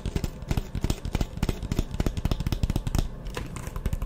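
Long nails tap and scratch a hollow, map-print faux leather Firmoo hard eyeglasses case as it is opened and closed. About two dozen quick, dull taps land in a steady run, deep and hollow-sounding with almost no bright edge. Each tap dies away instantly, with a faint scratchy rustle between them.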